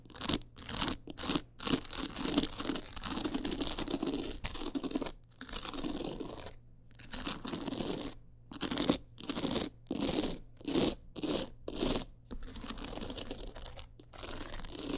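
Long nails scratch and tap across the stones of a teal rhinestone-studded clutch wallet. Quick bursts of dry, bright, crackly scratching are separated by brief silent gaps. A low, steady hum sits underneath throughout.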